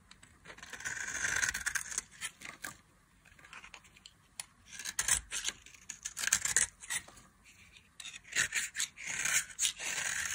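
A solid, pale yellow dry bar of soap, held in a hand with long glittery nails, is scraped with a utility knife blade that peels off fine shavings. Bursts of dry, bright scraping and rasping come in irregular strokes, with short gaps between them.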